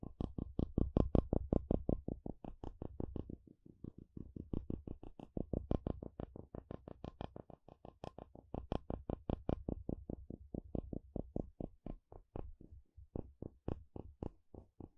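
A curved wooden stick is scraped across the teeth of a solid blue plastic wide-tooth comb, producing a rapid, somewhat uneven train of short, dry clicks. Each click is low-heavy and dies away almost instantly. The strokes come in bursts that swell and fade in loudness over the clip.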